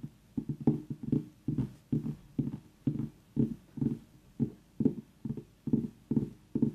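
Long nails tap and scratch the hard rind of a very small whole orange pumpkin with its stem, while an essential-oil diffuser runs nearby. The result is a quick, uneven run of short, dull, hollow knocks centered low in the midrange, each dying away almost immediately.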